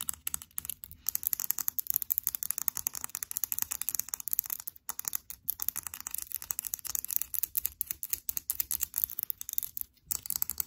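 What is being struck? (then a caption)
Small hard plastic toy figure. A small blue hard plastic Stitch figurine, held in the hands, is rapidly scratched and tapped with long pink acrylic nails. The result is a quiet, dense stream of bright, dry clicks and raspy scratches with almost no low end, and each tap dies away instantly.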